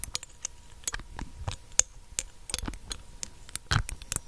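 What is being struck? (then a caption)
Small glass dropper bottle with plastic cap. Long acrylic nails tap the black dropper cap and the glass of a small, clear glass dropper bottle held above a microphone. About fifteen quick, sharp, bright clicks come in an uneven patter, each dying away almost instantly.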